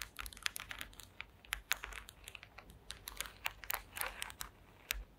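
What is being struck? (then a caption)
Woven wooden slat mat tapped and scratched with long nails. Long green acrylic nails tap and scratch across a woven wooden slat mat. Quick, dry clicks and brief scrapes follow one another with a bright, crisp edge and almost no ring, over a faint low hum.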